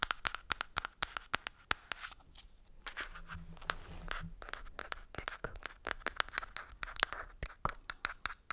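Long nails scratch and rub over the black lid and label of a green plastic cosmetic jar. Rapid, sharp clicks and scratches with a bright edge come through, with a ringing tone near 1.35 kHz. A softer, continuous rubbing passage runs through the middle before the quick scratching resumes.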